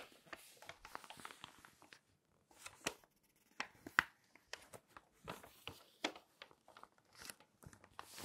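A palm and long nails rub and stroke the pages of an open glossy paper magazine, and the pages are flipped. Soft, bright, crinkly rustles and light scratches come in quick irregular bursts, with a brief quiet pause and a sharper papery snap near the middle. The sound stays quiet and close, with almost no low end.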